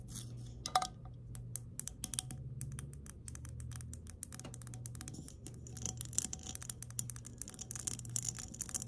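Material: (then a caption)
Glass. Long nails tap and scratch an empty glass mason jar lying on its side, moving over its embossed glass body and ridged metal screw lid. Rapid, short, bright clicks and scrapes follow one another quickly, each dying away almost at once, over a steady low hum.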